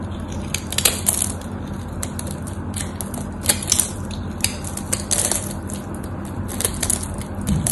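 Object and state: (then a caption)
Bar of soap being cut and crumbled. A solid white soap bar held in the hand has its crosshatch-scored face cut and scraped with a craft knife, and cubes crumble off. Repeated dry, crisp crunching and crackling bursts with bright, high edges sound over a steady low hum.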